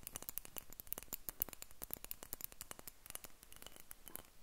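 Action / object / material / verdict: tap / small faceted glass dropper bottle tapped with fingernails / glass / none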